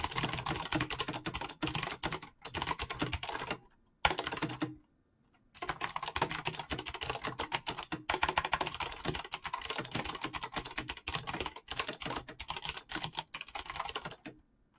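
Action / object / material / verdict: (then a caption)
tap / mechanical keyboard with PBT plastic keycaps / plastic / none. Fingertips type rapidly on a full-size backlit mechanical keyboard with PBT plastic keycaps, making a dense, steady stream of sharp, bright clacks. The typing runs in bursts, broken by brief pauses, including a longer pause around the five-second mark.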